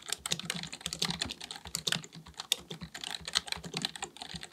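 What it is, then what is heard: Plastic computer keyboard being typed on. Both hands type continuously with their fingertips on a black, full-size plastic keyboard with a hollow body, likely mechanical, resting on a desk. A rapid, uneven stream of short, bright clicks and clacks is heard over a faint low thump. Each tap dies away almost instantly.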